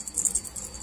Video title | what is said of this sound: REFRIGERATOR WALANG LAMIG COMPRESSOR SOBRANG INIT ANONG DAHILAN? | pag inalog mong ganyan, yung parang kala mo may mga buhangin sa loob, yung parang magalasgas. Ibig sabihin nagkandadurog na yung laman niya sa loob.